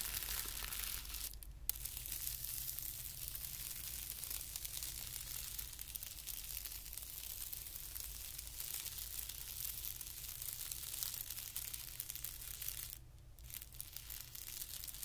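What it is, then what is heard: Tissue paper sheet being scratched. A single fingertip scratches and traces across a flat, thin white tissue paper sheet lying on carpet. It makes a quiet, steady, bright crackling hiss that briefly drops out near 1.5 and 13 seconds, over a low constant rumble.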